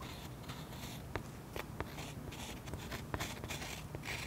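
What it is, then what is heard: Oil pastel layer scratched with a metal tip. Close up, a metal pen tip scratches swirl lines into the sky area of a waxy oil pastel coating on a sketchbook page resting on a solid flat surface. Quiet, continuous dry scraping with a bright hiss is broken by several short, sharp ticks as the tip catches in the wax, over a low steady rumble.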